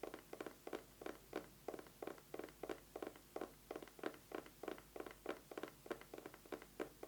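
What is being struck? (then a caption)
Eyeglasses case. An eyeglasses case is tapped quickly with fingernails in uneven bursts. The taps are short, dry and mid-pitched, with little low end, and each one dies away almost at once.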